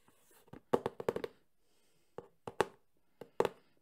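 Fingertips tap quickly on the front face of a medium, closed cardboard Sony camcorder box. The result is a series of short, hollow knocks with a body around 400 Hz and almost no ring. They come in three quick clusters separated by brief pauses.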